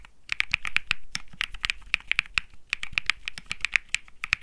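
A 65% mechanical keyboard with plastic keycaps on a metal-looking case, resting on felt, is typed on continuously with fingertips. About 27 quick, sharp keystrokes are heard as bright clicky taps with a short low thock, each dying away almost instantly. A few brief, softer rustling swells fall between some of the strokes.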